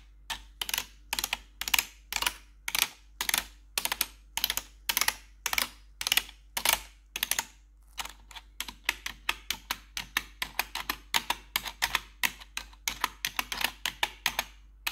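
Metal claw nails tap rapidly on the keys of a black plastic RGB backlit computer keyboard. The result is a steady stream of sharp, bright clicks with almost no low end and very short decay. The pace is moderate at first and quickens into denser tapping in the second half.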